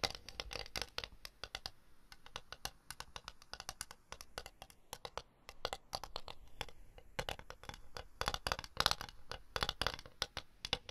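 A flat, round ceramic plate with a floral rim, likely porcelain, is held upright in both hands and tapped and scratched with long blue nails; the plate is solid and empty, with microphones standing nearby untouched. Rapid, irregular clicks and scratchy strokes come in quick dense bursts, bright and dry with a peak near 3.9 kHz and almost no ring after each contact. The activity grows busier and louder toward the end.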